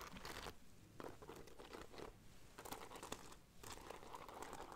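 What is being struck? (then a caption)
Cloth bag with beaded fringe and braided border. Long nails scratch along the gold beaded fringe and braided border of a hollow black cloth bag. The result is quiet, dry, crinkly rasping in bursts, with bright rustling textures over a soft low rumble.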